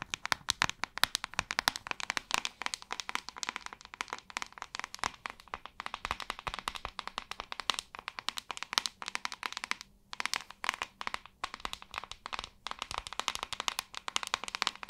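A hairbrush is tapped and scratched in a rapid, continuous run of crisp, dry clicks and scratchy hits. The sound is bright and high-pitched with almost no low end. The taps fall densely throughout, with brief pauses near 10 and 11 seconds.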